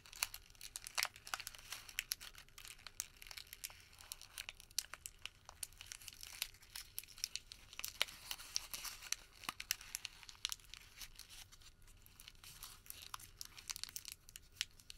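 A small, thin, flexible white thermal paper receipt, already crumpled into a ball, is held in both hands and crumpled and crinkled with the fingertips. The result is a quiet, steady stream of bright, dry crackles, with many sharp, short snaps that die away instantly and almost no low end.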